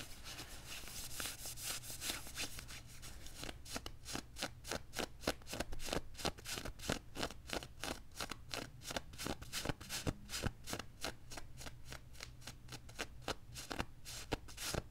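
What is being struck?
Quilted nylon puffer jacket.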